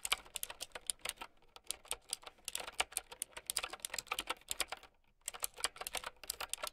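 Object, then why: Plastic mechanical keyboard with round keycaps. A mint-green typewriter-style mechanical keyboard with round plastic keycaps and a hollow plastic case, resting on a fur blanket, is typed on with long painted nails and fingertips. Bright, crisp clicky keystrokes come in quick bursts with a brief pause near the five-second mark. Each click is sharp and dies away almost instantly, with very little low end.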